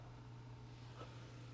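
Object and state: Nothing is struck.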